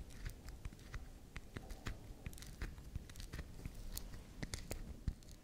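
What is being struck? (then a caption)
Small round bar of soap. Long acrylic nails scratch and scrape the edge of a small, solid, round pink swirl bar soap held in the hands, making a steady run of quiet, crackly scrapes with sharp clicking ticks over a low, soft rumble. Small soap shavings fall onto the table.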